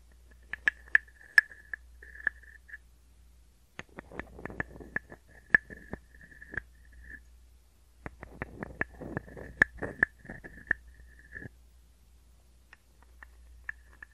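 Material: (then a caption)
Wood. A small hollow wooden frog guiro rests on an open palm and is scraped and tapped with a wooden stick. Sharp, dry taps with a brief hollow ring near 1.7 kHz open the clip. Two bursts of rapid, croaking ratchet scrapes follow, and a few scattered light taps end it over a faint low hum.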